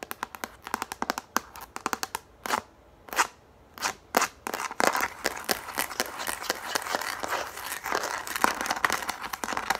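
Long nails tap and scratch a yellow plastic frisbee held in the hands. Quick, sharp, bright clicks come in bursts at the start, broken by a few short scraping swipes. From about the midpoint this becomes a dense, continuous crackly scratching with no low rumble.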